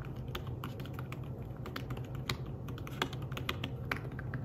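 Fingertips of one hand type rapidly on a thin, flat, grey fabric-covered folio keyboard for a tablet. Soft, short key taps with bright clicky tops patter quickly over a steady low hum.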